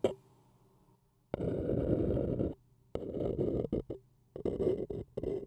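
A thin wooden stick scratches the outer wall of an empty, small, hollow white printed paper cup held in one hand. After a brief tick, one long steady rasp is followed by a run of shorter, choppier strokes. The scratching gives a dry, papery texture with a hollow mid-range body.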